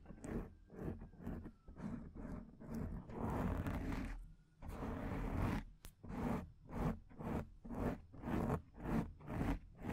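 Long painted nails scratch the top of a black foam microphone windscreen. Repeated rough, crackly scraping strokes come in a steady back-and-forth rhythm, with longer continuous scratching in the middle. The sound is broadband but weighted toward a soft, low rumble.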